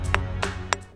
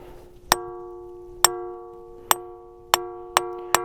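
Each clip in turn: First: Three short, dull clacks on an ordinary rock, each dying at once with no ringing tone. Second: Six sharp stone-on-stone strikes, each leaving a clear metallic tone that rings on like a bell.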